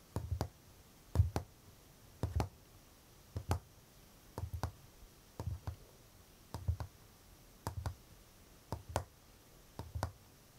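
Fingertips and short nails of one hand tap and drum on the hollow drawer panel at the front of a large, glossy, varnished wooden chest of drawers (tansu). About ten quick clusters of two or three taps each arrive roughly once per second, producing dull, low, hollow knocks with a sharp click on top that die away almost at once. A faint high buzz, possibly a cicada, sits in the background.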